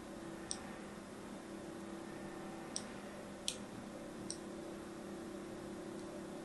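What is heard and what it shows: A thin needle-like tool scratches fine lines across the surface of a hand-held, blue and white striped solid soap bar. Four sharp, bright ticking scrapes stand out over a steady low hum, each a brief click peaking around 3 kHz that dies away almost at once.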